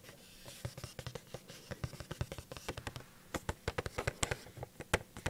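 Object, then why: Small cardboard box with plastic window. A small, hollow cardboard Funko Pop box with a plastic window and the figure inside is tilted in the hand and tapped quickly with long painted nails close to the microphone. Many short, dry taps with a hollow low thump and a crisp bright click come in rapid, uneven bursts over soft background hiss.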